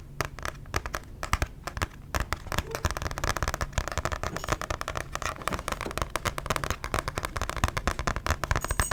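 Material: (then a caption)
Paper, card. A paper book is tapped rapidly and continuously, producing a dense stream of short, dry taps with a crackly texture. Each tap dies away almost instantly, and the sound is mostly low and muffled.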